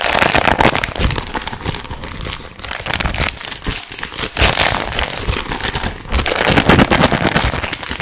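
A small green-and-white printed plastic film packet of chewing gum, held in both hands close to the microphone, is squeezed, crinkled and rubbed by the fingertips. Dense, irregular crackling crinkles spread across low to bright high tones, swelling into louder bursts with briefly softer stretches between them.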